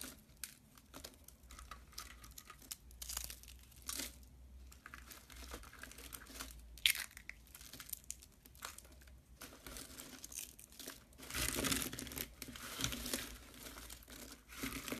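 A hand wearing a ring presses and rubs a pile of white dry soap curls on a metal tray, and the fingertips crumble the shavings. The result is soft, bright, dry crinkling and crunching with many small crackles, rising into a denser, louder stretch of crumbling near the end.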